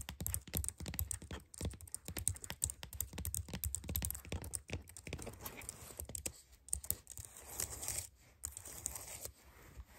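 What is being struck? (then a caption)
Plastic computer keyboard keys. Long fingernails rapidly tap and scratch across the keys of a white low-profile plastic computer keyboard. Dense bursts of sharp, dry plastic clicks mix with scraping nail scratches, each click dying out almost instantly, with a few brief pauses between flurries.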